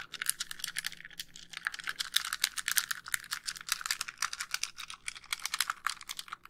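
Long nails tap rapidly across the back and front casing of a white, hollow plastic handheld game console. The result is a dense run of bright, dry clicks with no ring after each tap, with a faint low hum underneath.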